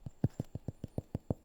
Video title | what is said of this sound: Sourdough: The One Where She Tries a New Recipe! | you want your bread to be Hollow when you tap on the bottom of it sounds Hollow